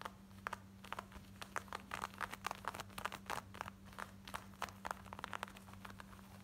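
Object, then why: Denim shorts. Long nails scratch quickly over worn, light blue distressed denim shorts at the back waistband, belt loop and pockets. The result is a fast run of short, dry, crinkly scratches centered around 1 kHz with bright edges, over a steady low hum.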